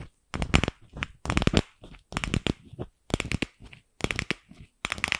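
Long acrylic nails tap and scratch the shell of a single fist-sized, empty, pink hollow plastic ball. Quick, dry, hollow clicks come in dense clusters with short gaps between, and each tap dies away almost instantly. The scratches leave a brighter, hissy texture.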